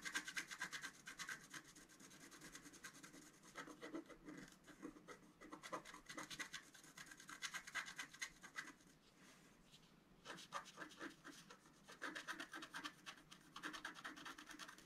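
A wooden stylus scratches short strokes into the black coating of a flat scratch art card, about A4 size, resting on a table. Bursts of dry, bright, rasping scrapes come in quick, uneven runs, with a brief quieter pause around the middle before the scratching resumes.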